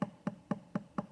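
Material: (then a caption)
Stoneware clay. Five quick, evenly spaced taps on a thick spot of a stoneware clay bowl during trimming give a very dead, dull thud around 195 Hz that dies almost instantly. The dead sound means too much clay there, so the area needs to be lowered.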